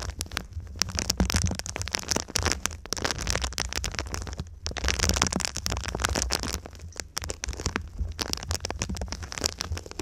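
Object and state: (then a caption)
Foil-faced foam insulation sheet. A silver foil-faced foam insulation sheet is bent over a microphone while long pink nails scratch and tap its crinkled foil surface. Dense, bright crackling and crinkling mix with quick, sharp taps over a steady low rumble, with brief quieter gaps between bursts.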